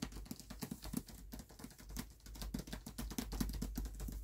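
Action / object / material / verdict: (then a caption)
tap / hardcover book with paper dust jacket / paper / none. Fingertips patter and tap rapidly across the paper dust jacket of a closed hardcover book resting on a black cloth. The quiet, continuous pattering is made of soft, low, muffled thumps, each with a brief bright papery tick that dies away almost at once.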